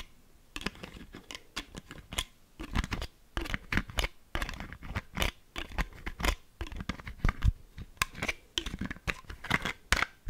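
A medium, partly full clear plastic argan oil bottle with a brown wooden-look cap is tapped and scratched on its cap and body with long manicured fingernails. Dense runs of quick, dry clicks and taps are heard, mixed with brief scratchy strokes that have a soft low thud beneath and a bright crisp edge, with no ringing.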